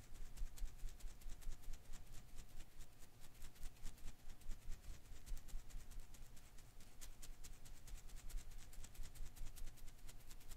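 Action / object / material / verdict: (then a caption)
shake / rubber-filament Koosh ball / rubber / none. A hand-sized blue and green rubber-filament Koosh ball is held in one hand while the fingers quickly shake and rub its strands. The result is a dense, irregular stream of soft, bright crackling ticks over a low, rumbling bed, with a faint steady tone humming underneath throughout.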